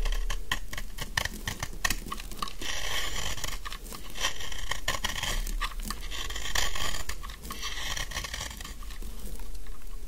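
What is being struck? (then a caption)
Soap bar scraped with a metal blade. A metal utility knife blade scrapes and carves the corners and edges of a solid pink dry soap bar held in one hand, cutting off crumbly shavings. Rapid, irregular, crisp scraping and crunching strokes come in quick bursts, with a bright, gritty texture over a steady low rumble.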